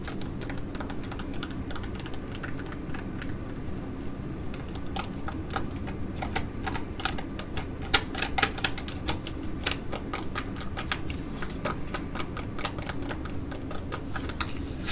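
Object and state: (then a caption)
Foil sheet-mask pouch, tapped and scratched. An ID.AZ Derm metallic foil laminate sheet mask pouch lies flat and is tapped rapidly with long nails and fingertips, then held and scratched. The result is a dense run of sharp, bright, clicky taps and crinkly scratches over a steady low hum, with a few louder taps near the middle.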